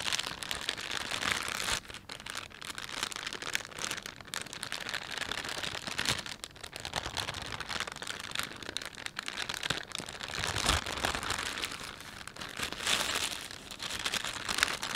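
Fingertips rub, press and crinkle a thin, glossy green-and-white plastic carrier bag with a panda print, lying flat and empty. The result is a continuous, bright crinkling and crackling that stays mostly in the high range, with little low end, and rises and falls over about 15 seconds, with brief quieter dips along the way.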